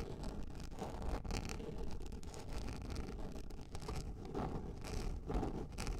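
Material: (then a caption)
Plastic. Long nails scratch and scrape across a large round yellow plastic lid, making a steady, dense scratching rustle. The sound is heavy and low, with recurring bursts of brighter, higher scraping.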